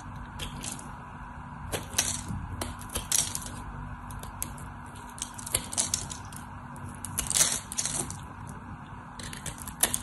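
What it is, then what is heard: Bar of soap being cut and scraped. A craft knife cuts and scrapes along the edge and face of a solid white soap bar, breaking off crumbly chips. Bursts of bright, dry crackling and scratching come in quick clusters, with sharp, short snaps that die away at once. A faint steady low hum runs underneath.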